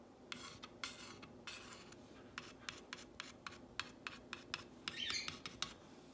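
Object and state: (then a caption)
Painted wooden sign, solid. A long fingernail traces and scratches along the painted letters of a solid whitewashed wooden plank sign reading "You make me happy." Quiet, bright rasping scratches come as a few longer sweeping strokes mixed with many short, quick flicks. Each one stops abruptly over a faint low background hum.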